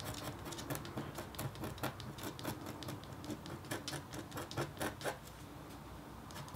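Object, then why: Black-coated copper foil scratch board scratched with a metal stylus. A metal-tipped stylus scratches a thin, solid, flat black-coated copper foil scratch art board. Short, irregular scratchy strokes come in quick succession, each a bright, dry rasp with no ring. A low, steady hum sits underneath.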